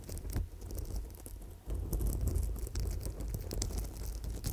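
An amethyst chip bracelet on gold wire is held in both hands against the microphone while long nails scratch and tap the stone chips and wire. Soft, quick clicks and rustling patter ride over a deep low rumble from the handling. The rumble grows louder partway through.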